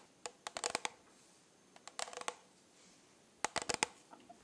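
Long nails tap and scratch across the rhinestones of a rhinestone-covered plastic tumbler held close to the mic. Three quick bursts of sharp, bright, clicky ticks sound, each dying almost instantly, with quiet pauses between them.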